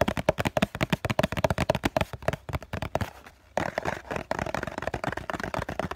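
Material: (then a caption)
Cardboard. Fingertips and short nails of both hands tap and scratch the flat face of a hollow COCON cardboard tissue box, giving quick, dry, hollow knocks with a tone near 617 Hz. The rapid tapping thins out and falls nearly silent for a moment, then resumes as a denser, brighter mix of scratching and tapping.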